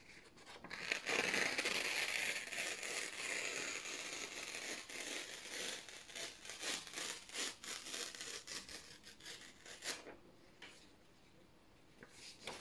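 A few thin white printed office paper sheets are slowly torn apart by both hands, giving a bright, rasping rip with almost no low end. A long, loud tear at the start gives way to a string of shorter, fluttering rips, then it goes quiet before one last brief tear.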